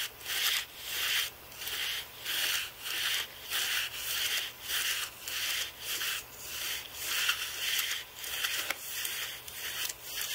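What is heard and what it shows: A carbon-fibre brush is rubbed back and forth along the bottom rows of plastic keys on a thin aluminium Apple keyboard, held by one or both hands. Each stroke makes a bright, airy scratching hiss with no low end, rising and falling in a loose, fairly steady rhythm of about one and a half strokes per second.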